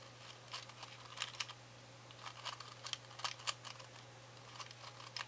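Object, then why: Cardboard matchbox with wooden matches. A small, hollow cardboard matchbox full of wooden matches is held in the fingertips while its inner drawer is slid open and the matches are fingered and pulled out. The result is soft, dry clicks and bright rattling ticks in irregular bursts. A steady low hum sits underneath throughout.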